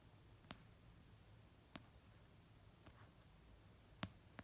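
An orange paperback novel with solid paper, lying on a fluffy blanket, is tapped slowly with fingertips and dark-painted short nails. Five soft, short clicks with a dull low thump and a bright tick sound at wide, uneven intervals over a quiet low background hiss.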